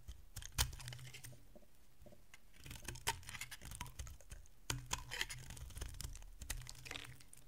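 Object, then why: Bar of soap. A solid oval bar of dry yellow soap, held in the hand, is carved into chunks with a metal utility blade. Crisp scraping and cracking clicks sound as the blade bites through the soap, with sharper snaps as pieces break away, over a faint low hum.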